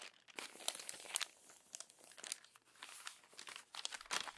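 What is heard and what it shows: Crumpled pages of an open glossy paper magazine are smoothed and turned by hand. Soft, bright crinkling and rustling comes in short, repeated bursts with almost no low end, each sound stopping dry with no ring.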